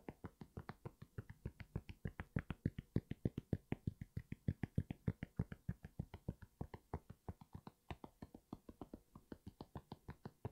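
Quick fingertip and nail taps land on the foam sole and knit upper of an empty grey NMD sneaker held upright. The taps come in a fast, uneven stream of short, dull thuds that are mostly low in pitch and die away almost instantly.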